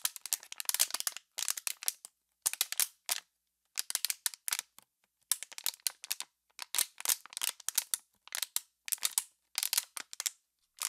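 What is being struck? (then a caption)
Thin clear plastic water bottle. An empty, crumpled, hollow clear plastic water bottle is squeezed and crackled by hands with long pink nails. Bursts of sharp, bright crinkling crackles come in clusters separated by short silences, with almost no low end and no ring after each snap.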